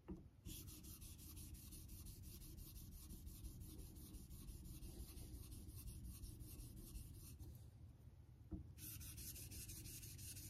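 A vintage Geneva Cutlery steel straight razor blade is honed in strokes across a solid light-blue synthetic Naniwa water stone held in a clamp holder. A steady, soft rubbing scrape runs through the clip with a bright hiss on top, which briefly drops out near the end before a small click and the strokes resume.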